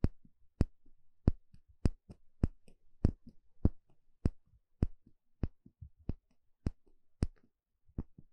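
A small, shallow, empty bamboo bowl held in one hand has its inner surface poked and scratched with a thin plastic pick. About fifteen sharp, dry taps come at a fairly steady pace, each a bright click over a low hollow thump that dies away almost instantly. Softer scratchy rustles fill the gaps between the taps.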